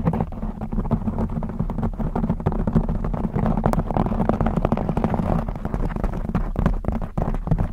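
Long blue acrylic nails scratch a black textured knit fabric cover stretched over a rounded microphone head. The result is a steady, dense scratching and rubbing with a deep, muffled rumble, made of rapid short strokes that run together for the whole clip, with almost nothing in the high range.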